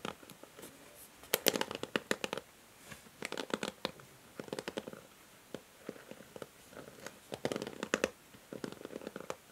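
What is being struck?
Plastic paddle hair brush bristles.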